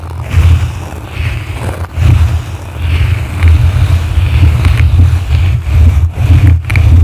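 Blue plastic brushes scratch the sides and top of a yellow foam microphone windscreen. The result is a loud, deep rumbling scrape that swells and fades continuously, with faint brighter scratchy crackles over the heavy low-end roar.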